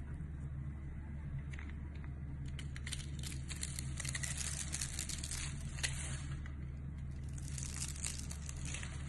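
A utility knife cuts through a pre-scored, rectangular solid white bar of soap held in the hand, making small granules crumble off. Dense, bright crinkly scraping and crumbling bursts come over a steady low hum, building through the middle and again near the end.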